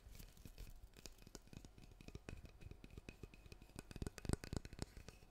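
Fingertips and nails tap and scratch the solid wooden back of a handheld oval hairbrush with black bristles. Quick, irregular dry taps with very little ring come out dull and low, mixed with soft scratching. A few sharper, louder taps stand out near the end.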